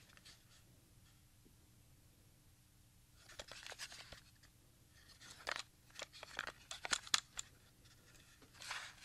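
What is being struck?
Plastic audio cassette shell.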